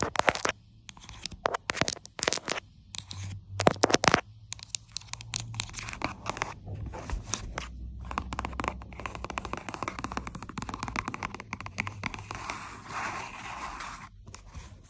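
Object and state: Plastic lotion squeeze tube.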